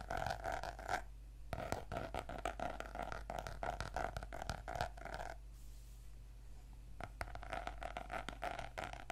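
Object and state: Notebook with laminated cardboard cover.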